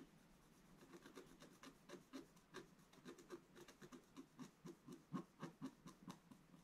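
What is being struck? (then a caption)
Black-coated scratch art card scraped with a wooden stylus. A wooden stylus scratches the lower right corner of a flat, black-coated scratch art card. Quiet, dry, rasping strokes repeat about twice a second in an uneven rhythm, each one short with a low, woody body and a thin bright scratch on top.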